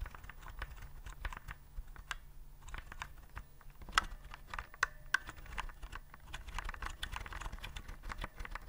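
Fingertips tap the round keycaps of a white plastic typewriter-style keyboard held upright. A steady run of quick, light plastic clicks is heard, with a few sharper, louder clacks near the middle, over a constant low hum.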